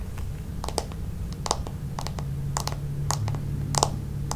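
Long nails tap and scratch on the back of a red plastic paddle hairbrush, a smooth hollow plastic shell. The result is quick, crisp, bright clicks in an irregular rhythm, each fading almost at once, over a steady low hum.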